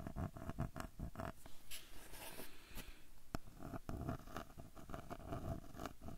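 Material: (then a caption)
Wood. Fingertips scratch and tap the light wooden edge of a small square frame with a dark centre, held at an angle close to the recorder. The result is a quick run of soft, dull taps mixed with dry, rustling scratches, heavy in low thuds with short bursts of brighter hiss.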